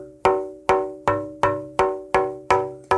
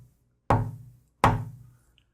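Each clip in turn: First: Eight even taps on a rosewood plate, each leaving clear tones near 380 Hz that ring on like a small bell. Second: Two dull taps on a maple plate, a low thud near 110 Hz that dies fast: dry wood.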